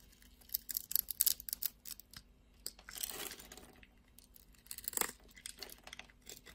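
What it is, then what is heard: Soap bar being cut. A craft-knife blade scores grooves into a solid red soap bar held in the hand and shaves off small cubes. Quiet, crisp, bright scraping and cutting come in rapid bursts, with a longer rasping scrape around the middle and a sharp cut shortly after.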